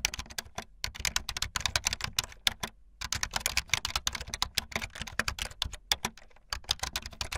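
Fast typing on a full-size, backlit plastic Bluetooth membrane keyboard with white and blue plastic keycaps and a hollow plastic body, with the keys pressed by fingertips and the tips of long painted nails. The result is a rapid, uneven stream of short, bright, clacky taps with a hollow plastic rattle and almost no ring after each press, over a faint low steady hum.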